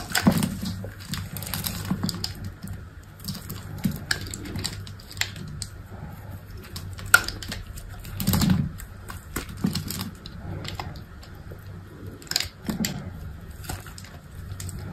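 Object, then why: Bar of soap cut with a blade. A utility knife blade cuts and scrapes small cubes from a solid, hand-sized white soap bar. The sound is a run of soft, crisp scrapes and quick clicks with brief bright edges, over a steady low rumble and a faint tone near 1.4 kHz. Louder dull cuts stand out now and then.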